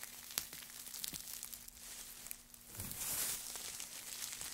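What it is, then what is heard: Pile of wood shavings. Gloved hands grab, crumple and scrunch a heap of thin wood shavings, making dry, bright crackling and crinkling with many quick snaps over a faint steady low hum. The rustling swells into a louder, denser scrunch around the three-second mark before settling back to light crackles.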